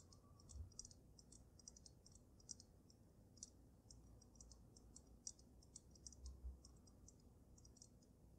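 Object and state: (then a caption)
Glass snow globe. A water-filled glass snow globe with glitter, tapped on the sides of its glass dome by gray-painted fingernails. Quick, quiet, bright clicks sound in an irregular stream over a low background rumble.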